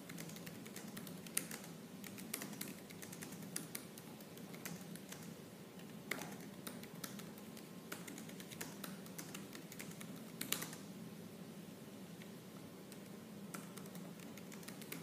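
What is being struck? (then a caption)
Laptop keyboard with plastic keys. Fingertips with purple nails type fast and hard on the black plastic keys of a silver laptop keyboard. The result is a dense, continuous stream of quiet clicky key taps with a few sharper, brighter strikes standing out, over a steady low hum.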